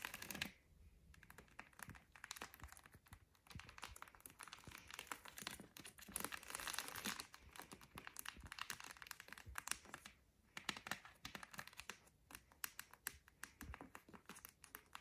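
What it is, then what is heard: Cardboard record sleeves. Long lilac nails and fingertips tap and scratch along the spines and edges of a row of vinyl LP records in cardboard sleeves standing on a shelf. The result is a dense, quiet stream of quick, dry, papery ticks and scrapes, mostly bright with little low end, in brief bursts and short runs of scratching.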